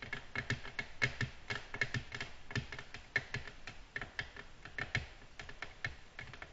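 Long natural nails tap quickly and repeatedly on a flat, solid, glossy black glass tabletop. The taps are short, sharp clicks with a bright ring near 2 kHz and a soft low thump under each one, landing in an uneven, typing-like rhythm.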